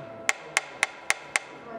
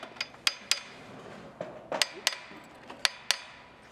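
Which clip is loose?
The first.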